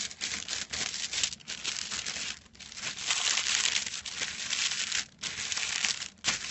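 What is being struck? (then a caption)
Thin metallic foil sheet. Fingertips scrunch and scratch the crinkled surface of a silver metallic foil sheet lying flat. The result is a dense, bright, crackling crinkle with almost no low end, broken by a few short pauses.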